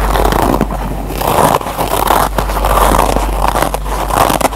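Fingertips and short nails scratch the green nylon scour pad of a single foam scrub sponge, heard up close. The result is a dense, continuous crackly rasp centered in the midrange, swelling and easing in waves over a steady low hum.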